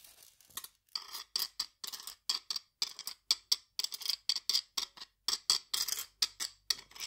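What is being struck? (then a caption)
Stainless steel guiro scraped with a metal scraper. A flat metal scraper is drawn across the ridges of a steel guiro, a hollow stainless steel cylinder held upright. The result is a quick, uneven series of short, bright metallic rasps, each a gritty burst of fine clicks with a high, ringing edge and almost no low end.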